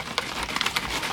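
A plastic bottle of metal polish with a steel mixing ball inside is shaken, and the ball rattles against the walls in quick, bright clicks over a soft liquid slosh. The ball is working as intended, loosening and mixing the polish.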